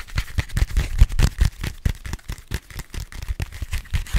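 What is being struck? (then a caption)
Folded paper map booklet. A small folded paper Paris metro map booklet is held in one hand while fingertips and nails tap and scratch its printed cover. The result is a quick, uneven run of soft, dull taps with papery scratching between them, each tap dying away almost at once.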